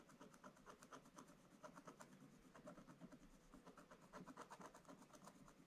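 A wooden stylus scratches the black coating of a flat scratch-art paper page near the top snowflakes. It makes a steady run of quick, dry, rasping strokes with a bright, papery edge over a soft low rustle, each stroke dying away almost at once.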